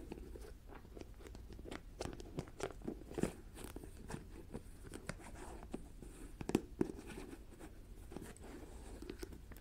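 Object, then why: Plastic jar with plastic screw lid. Long dark-painted nails tap, scratch and twist the white screw lid of a medium clear plastic jar filled with a white granular filling. The result is a quiet, irregular stream of short, dry plastic ticks and scratchy crunches, with a few sharper clicks standing out.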